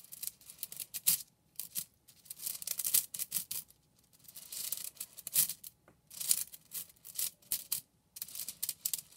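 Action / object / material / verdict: scrape / bundle of plastic drinking straws / plastic / none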